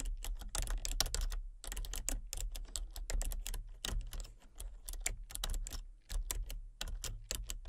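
Fingertips type rapidly on a full-size plastic computer keyboard with a colour-changing backlight, producing a dense stream of short, sharp, bright clicks that die away almost instantly. A steady low hum runs underneath, and the tapping briefly pauses twice before continuing.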